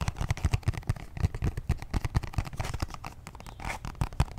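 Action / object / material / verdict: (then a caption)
tap / small cardboard box / cardboard / none. A small, hollow, purple printed cardboard box holding a makeup brush set is held in both hands and tapped and scratched with fingertips and short nails. A rapid, uneven series of dull, low, hollow taps is heard, each dying away almost instantly, with faint scratchy rustling between them.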